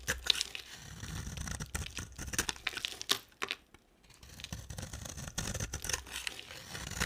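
A solid, oval, purple-and-white marbled bar of dry soap, held in the hand, is scraped and carved with a utility knife blade. The blade makes a run of dry, crisp, bright scraping and crunching strokes with a tearing texture, pausing briefly near the middle before the carving resumes.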